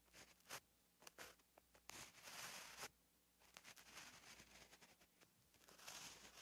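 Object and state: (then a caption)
Pen writing on a paper notebook page. A gel pen held in the hand writes Korean letters on a flat, lined paper notebook page, its tip scratching across the paper. Quiet, bright scratchy strokes come in short bursts with small ticks between them, and a longer continuous scratch runs near the middle. A faint low hum sits underneath.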